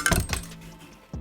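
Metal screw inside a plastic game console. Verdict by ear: Loose.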